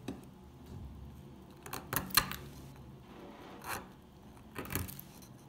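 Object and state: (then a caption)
Old dry soap bar. A solid, dry, old orange stamped soap bar is held in the hand while flakes are scraped and picked off it with a metal pick and fingers. About seven brief, crisp, bright crunches and scrapes stand out over a quiet, faintly rustling background, the loudest cluster coming near the middle. Each crack dies away almost instantly.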